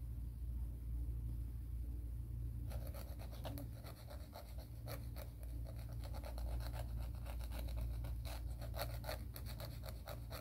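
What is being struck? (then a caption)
Emery board nail file rubbed against a fingernail. A fingernail is filed with quick back-and-forth strokes along a grey emery board nail file. After a few seconds of low steady hum, a rapid, uneven run of dry, bright rasping scrapes begins and continues to the end over the constant low background.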